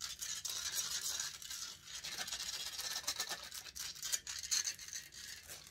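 Long nails scratch and rub the hollow metal mesh grille of a large silver condenser microphone. The result is a dense, rapid, bristly scraping that is almost entirely high and bright. It comes in quick uneven strokes with no low end and no ring.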